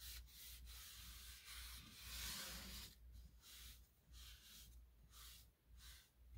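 A hand holding a purple microfiber cloth wipes across the drawer fronts and lower edge of a small gray two-drawer bedside nightstand with painted or laminated particleboard/MDF surfaces, small light drawer handles and a hollow cabinet body. The dusting strokes make soft, bright, hissy swishes that rise and fall about twice a second in a loose rhythm, over a steady low hum.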